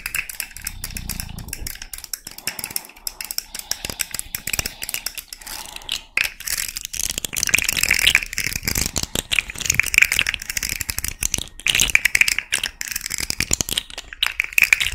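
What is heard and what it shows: Long nails scratch and flick the segments of a small rainbow plastic articulated fidget slug toy held up in one hand. The result is a dense run of quick, dry clicks and rattles, bright and mostly high-pitched with almost no low end. Each click dies away almost instantly.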